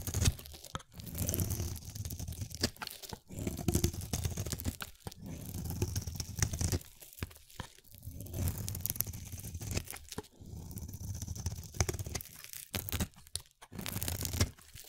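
A palm-sized, solid translucent purple-blue oval glycerin soap bar, held in the hand, is shaved with a utility-knife blade into white flakes. Repeated crunchy, tearing scrapes come in dense bursts separated by short pauses, heavy in low-end body with a bright, crisp edge.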